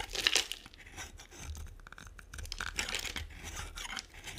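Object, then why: Bar of soap. A metal blade cutter scrapes and carves thin shavings off one end of a solid, hand-sized bar of dry brown and white striped soap held in one hand, the shavings piling onto a white table. The sound is a dry, crisp, bright scraping and crackling, like tearing or crumpling, loudest in a burst near the start. It then continues as a steady, softer run of small scratchy cuts.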